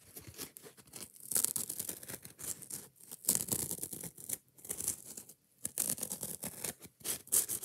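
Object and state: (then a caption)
Kitchen sponge with scouring pad, scratched. Long painted nails scratch fast and aggressively across a hand-sized yellow foam kitchen sponge, working both the soft foam and its green nylon scouring layer. The result is a rapid run of dry, bright, rasping scrapes in uneven bursts with brief pauses between them. There is very little low end and no ring after each stroke.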